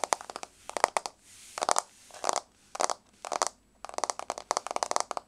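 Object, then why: Wood-look laminate floor. Long blue-grey nails on both hands tap quickly on a flat, solid, wood-grain laminate floor. The taps come in short bursts of sharp, dry, bright clicks separated by brief pauses, with no ring after each tap.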